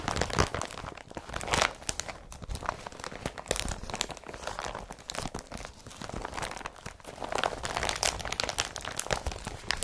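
Hands crumple and rub an empty blue IKEA BRATTBY carrier bag made of woven polypropylene plastic. The result is a continuous stream of dense, bright crinkling and crunching with sharp crackly bursts, louder near the start and again toward the end.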